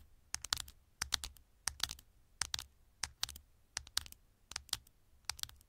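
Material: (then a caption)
Metal. Long nails tap and scratch the gold metal back panel of a small, thin, hollow smartphone held with its back facing up. Quick clusters of sharp, bright clicks come in steady bursts with soft scraping between them. Each tap dies out almost instantly, with little low end.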